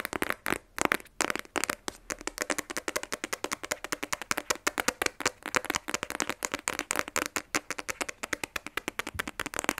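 Long nails tap rapidly on a small, rigid, black printed cardboard iPhone 12 Pro box, closed and held in both hands. About 68 crisp, dry clicks follow one another in a dense, uneven rhythm, with bright upper tones, almost no low end and no ring after each hit.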